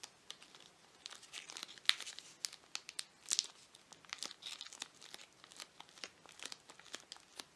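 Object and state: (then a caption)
Plastic-wrapped toffee bar. A toffee candy bar in a crinkly plastic wrapper is held in both hands while fingers crinkle and squeeze the wrapper and tear at its end. Irregular, sharp, bright crackles and crinkles come in quick bursts, with a few louder snaps standing out and nothing low or ringing underneath.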